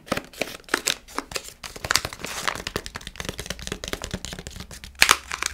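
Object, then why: Foil-lined plastic snack bag. Fingernails tap, scratch and crinkle a palm-sized, partly full Milkybar sweets pouch made of foil-lined plastic. Dozens of quick, dry, bright clicks and crackly rustles follow one another with almost no ring. A louder burst of crinkling comes near the end.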